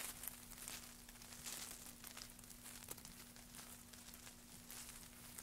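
Gloved hands lift handfuls of thin wood shavings and drop them back onto a pile, making soft, dry crinkling and rustling. The sound is quiet and bright, with light crackles over a faint steady low hum.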